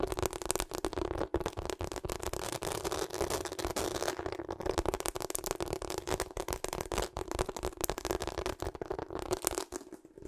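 A pink and purple rubber hot water bottle with a ribbed surface, held sideways, is scratched and tapped along its ridges with long acrylic nails. Rapid, dense crackly taps and scratches run continuously with a steady low-mid tone, then thin out and fade near the end.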